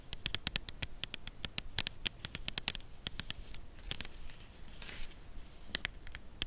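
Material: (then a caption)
Cardboard. A full, red Lindor cardboard chocolate box is held upright and tapped with long nails on its front face and top end. The result is a run of quick, dry, clicky taps with a bright edge near 3.7 kHz and almost no ring, uneven in rhythm, with a short soft hiss partway through.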